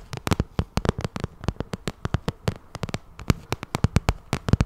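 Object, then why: Vinyl cosmetic pouch tapped with long nails. Long nails tap and scratch the face of a glossy pink shiny vinyl cosmetic bag, giving a quick, uneven run of about 29 short, dry taps. Each tap has a soft low thump and a bright click on top, dying out almost at once, with faint scratching between them.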